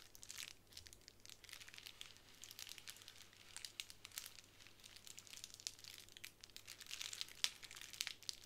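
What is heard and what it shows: Long nails scratch and fingertips press a small square of clear plastic bubble wrap on a wooden table, making soft, quick crinkles and crackles that are mostly bright and high. The sound stays quiet and continuous with dense little ticks and no ring, over a faint low hum, with a few sharper snaps near the end.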